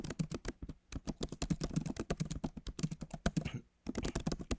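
Fingertips of both hands type on the backlit keyboard of a MacBook Pro, tapping its plastic keys set in a solid aluminum body. A quick run of short, dry, low-toned clicks is heard, broken by brief pauses near the start and just before the end.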